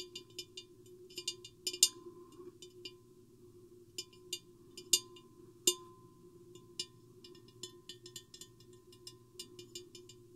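Long painted fingernails and fingertips tap the sides of a medium-sized, empty, hollow clear glass vase with a square hourglass shape and a microphone hanging inside. The result is a quiet, irregular run of bright, clicky taps with a very short ring, mostly high-pitched with a steady faint tone underneath.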